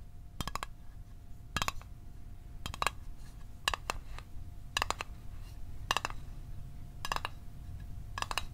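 Fingernails tap the top and edges of a small, hollow, closed blue Altoids metal mint tin held above a microphone. Eight short bursts of two or three quick, bright metallic clicks ring near 1.1 kHz and die away almost instantly. Between bursts, a low rumble and a faint steady tone continue underneath.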